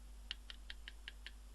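An electrolytic capacitor with a bulged top inside a cheap 500W ATX power supply is tapped six times, giving short, dry clicks centered around 3 kHz over a low steady hum. The hollow tone of the taps suggests the capacitor is faulty.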